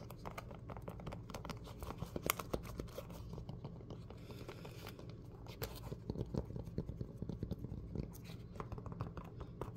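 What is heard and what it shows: A yellow Croc-style clog of molded foam with ventilation holes, hollow and empty and held in both hands, is tapped and scratched by fingertips and nails across its top and textured sole. A quiet, fast, continuous stream of dull, soft taps and rough scratching is heard, mostly low-pitched with little brightness. Each tap dies out almost instantly.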